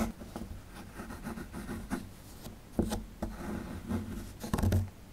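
A metal pick tool scrapes at a small, solid plaster excavation block held in the hand. The scraping is soft, dry and mostly low-pitched, with brief gritty strokes and a few sharper, louder scratches near the middle and toward the end. The sounds stop quickly, with no ring.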